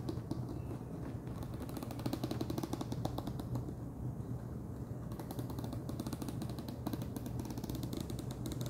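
Fingernails tap rapidly on the top of a wide orange plastic screw lid sitting on a large clear plastic jar full of Chester's Cheddar Paws cheese puffs. The taps make a dense, steady stream of short, dry, hollow clicks with a low body and brief bright ticks, continuing evenly for the whole clip.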